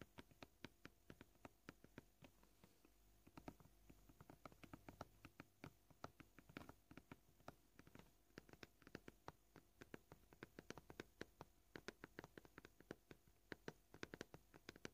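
Short, purple-polished fingernails on both hands tap quickly across the surface of a scratched, solid, flat white plastic cutting board. The result is a steady, fast patter of quiet, dry, crisp clicks that die away almost instantly, with no ringing, over the full fifteen seconds.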